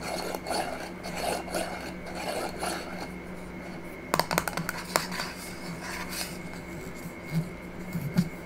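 A small, empty-looking clear glass jar with a silver metal lid is held and turned in the hands while long nails scratch and rub along the glass and the lid rim. Soft, steady rasping and scraping is heard throughout. A quick cluster of sharper clicks comes just after the fourth second.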